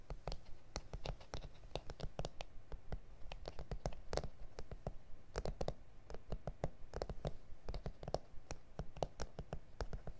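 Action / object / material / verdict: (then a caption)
tap / plastic cutting mat / plastic / none. Fingertips and nails tap and scratch across an A4 self-healing plastic cutting mat with grid lines, lying flat and solid on a surface. Many quick, sharp, dry clicks come at an uneven pace, about one per second, with soft scratching between them. The sound is quiet and close, with a low thud under each bright tap.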